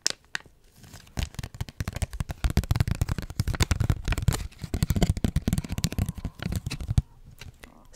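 Long nails rapidly scratch and crinkle the foil of a small Capri Sun juice pouch made of foil laminate, with a straw, possibly squeezing it slightly. A dense run of crackling, tearing-like crinkles with dull low thumps fills the middle of the clip, between quieter, sparse scratching at the start and end.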